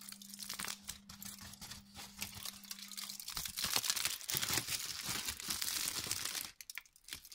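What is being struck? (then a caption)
Thin aluminium kitchen foil sheet. A thin, hand-sized loose sheet of crumpled aluminium kitchen foil, not hollow, is crumpled and unfolded with the fingertips, giving dense, bright crinkling and crackling over a faint low hum for the first few seconds. The crinkling grows louder and busier midway, then cuts off sharply near the end, leaving only a few soft rustles.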